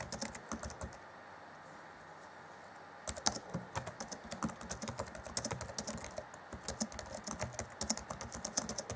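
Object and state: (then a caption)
Plastic laptop keyboard being typed on. Fingertips of both hands type on the black plastic chiclet keys of a 2014 Acer Chromebook C20 laptop keyboard, making quick, light, bright clicks. A short burst of typing stops for about two seconds of quiet hum, then resumes as a steady, dense run of crisp taps to the end.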